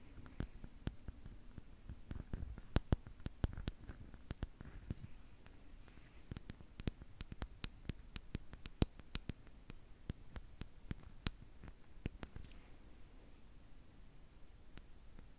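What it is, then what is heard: Lacquered wooden spoon. The bowl of a large, solid, lacquered Khokhloma painted wooden spoon is tapped and scratched with long nails. Crisp, short clicks with brief bright ticks repeat steadily over a quiet, low background.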